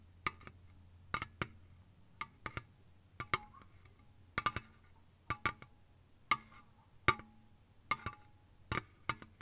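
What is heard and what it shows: Long fingernails tap quickly on a slim, hollow Lipton green ice tea aluminium can lying on its side on a soft blanket. The taps come in short bursts of dry, clicky ticks with a faint metallic ping around 1.2 kHz and bright edges. Each tick dies away almost instantly into a quiet low hum.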